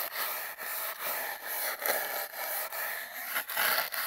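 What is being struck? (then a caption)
Cardboard tube. The bristles of a single toothbrush scrub and scratch along an empty, hollow cardboard toilet-paper tube that is taped down. Repeated back-and-forth strokes make a dry, bright, bristly rasp with almost no low end, each separated by a brief dip in level.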